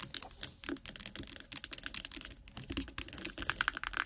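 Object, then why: Small plastic tub with lid. A small, lidded, apparently full 100 g white plastic jar of Vaseline petroleum jelly is held close to the microphone and tapped rapidly with long acrylic nails on its lid and sides. The result is a dense, uneven stream of dry, bright plastic clicks with no ring, a little like fast typing.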